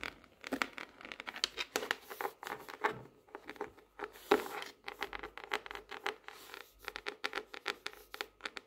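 Long nails scratch and tap the laminated cardboard cover of a tropical leaf-print hardcover notebook diary, catching on its raised gold leaves. The result is a quiet, dry stream of quick clicking taps and papery, bright scratches with no low end, each hit dying almost at once.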